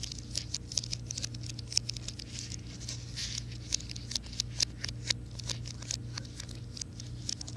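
Fingernails tap and scratch the plastic keys of a slim white plastic and aluminum wireless keyboard, held upright and then at an angle. Quick, bright clicks and dry scratching patter over a steady low hum.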